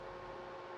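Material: Nothing is struck.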